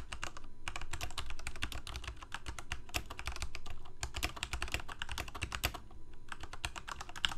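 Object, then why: Plastic mechanical keyboard. Fingertips of both hands type quickly on a full-size Corsair K68 backlit plastic mechanical keyboard with Cherry MX Red switches. A steady stream of short, sharp clacks runs through the whole clip over a constant low rumble.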